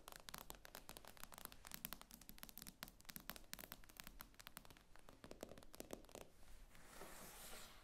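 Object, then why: Glass tablet screen. Long acrylic nails tap slowly on the glossy glass screen of a tablet lying flat on a table, making a dense run of short, sharp clicks. Near the end the taps give way to a soft, bright scratchy rustle.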